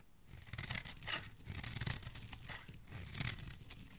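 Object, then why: Bar of soap scraped with a metal blade. A metal blade repeatedly scrapes and shaves a solid, hand-held bar of soap with red and white layers, cutting off curls and flakes. The sound is a dry, bright scratching rasp with a low, soft undertone, rising and falling in repeated passes.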